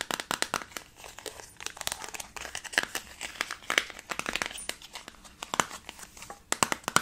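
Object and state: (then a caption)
Thin plastic tub being tapped and squeezed. Fingertips and long nails squeeze, scratch and tap the thin plastic walls and rim of a small, round, translucent, handheld plastic tub holding pink modeling dough. The result is a rapid, irregular stream of bright, crinkly cracks and sharp ticks with almost no low end, each dying away almost instantly.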